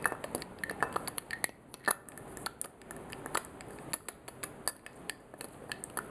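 Fingers lift the glass stopper from a clear, faceted crystal glass perfume bottle and clink it back into the neck again and again. The result is a rapid, irregular series of short, bright glassy clinks and taps, pitched around 1.8 kHz with high sparkle. Each clink dies away almost instantly over a quiet background.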